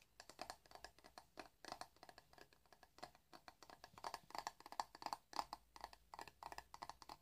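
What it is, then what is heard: Plastic hairbrush bristles being scratched. A hand-sized black plastic paddle hairbrush with dense bristles is held in the hands while fingertips and nails scratch and brush along the bristles. The result is a quiet, irregular stream of quick, dry, scratchy strokes, about three per second, with a midrange bristly tone and a bright hiss that cuts off almost at once.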